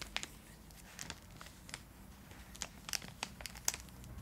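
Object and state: Foil-lined plastic wrapper crinkling.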